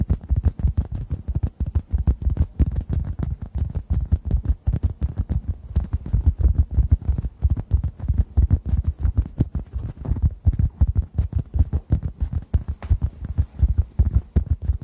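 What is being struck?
Synthetic foam sponge.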